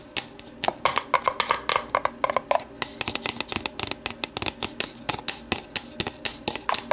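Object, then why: Thin plastic deli container. Long matte navy nails tap and scratch the side of an empty, lidless, medium-size translucent polypropylene deli container, held and tilted on a wooden table. About 38 sharp, bright plastic clicks arrive in quick, uneven bursts, with soft scratchy rustling between them. Each tap dies almost instantly, and early on there is a faint hollow ring near 1 kHz.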